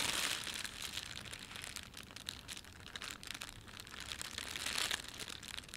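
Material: Plastic film.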